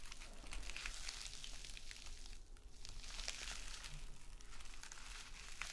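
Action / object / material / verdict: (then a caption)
scrape / metal mesh scouring pad / metal mesh / none. A small gold metallic mesh scrub sponge, a knit scouring pad, is held and squeezed in the hand while long nails scratch across it. The result is a steady stream of dense, bright crinkling and scratchy rustling over a low rumble, with brief quieter dips between bursts.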